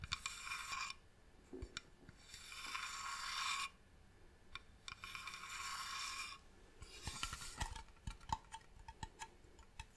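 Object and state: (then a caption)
Wooden box. Long nails tap and scratch across the top of a medium, hollow, varnished wooden box, with bright hissing scrapes in three long sweeps over the first seven seconds. The box is then held up and tapped on its side, giving a quick run of short, dry, hollow clicks with almost no ring.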